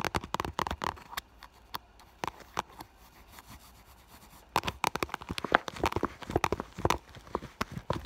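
Long nails tap and scratch the surface of an iridescent clear vinyl (holographic PVC) school bag with a fur heart patch and a small item inside. Sharp, crisp plastic clicks come in quick flurries, thin out to scattered taps in the middle, then pick up again into dense tapping.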